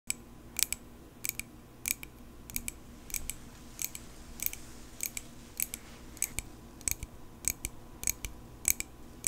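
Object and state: Small metal pocket knife tapped with nails.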